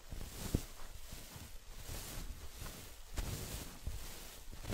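Long acrylic nails scratch and tap on a soft, stuffed orange printed fabric throw pillow. The result is a quiet, low, muffled rustle with soft dull thumps, plus one sharper tap near the start.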